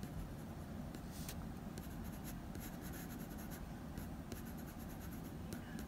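A blue wooden pencil makes small strokes on the nose of a dog portrait on a sheet of drawing paper. Soft, quiet scratches and brief bright ticks sit over a steady low rumble throughout.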